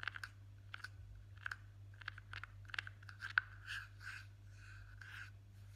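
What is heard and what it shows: A single fingertip with a short nail taps and scratches the flat top of a blue plastic Nivea jar lid. Quiet, dry clicky taps with a resonance around 1.5 kHz come first, then softer, brighter scratching strokes. A steady low hum runs underneath throughout.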